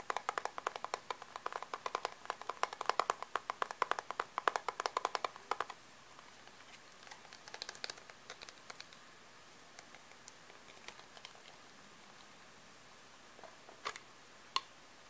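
Long manicured nails tap and scratch a small round hand-held bronzer compact full of pressed powder, with a clear plastic lid and a copper-coloured plastic base, working over the lid, the underside with its barcode label, and the rim. A rapid, dense run of light, dry plastic clicks centred around 1 kHz fills the first six seconds. After that come sparser, quieter taps and faint scratches, with a couple of sharper clicks near the end.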